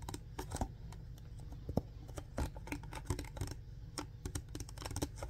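A clear plastic alkaline water bottle with a blue diamond-shaped cap, hollow and apparently empty, is tapped and scratched with fingertips and nails. Quiet, irregular clicky taps and dry scratching crinkles sound over a steady low rumble, with a few sharper, louder taps standing out.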